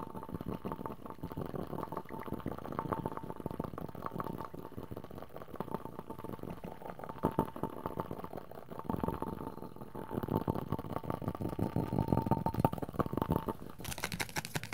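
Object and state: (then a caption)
Rubber spiky ball. Fingertips and nails rapidly tap and scratch the surface of a fist-sized, pink, hollow rubber ball with raised triangle spikes, held in both hands. The result is a dense, muffled stream of soft, dull tapping and scraping, mostly low in pitch with little high-end sparkle, over a faint steady tone.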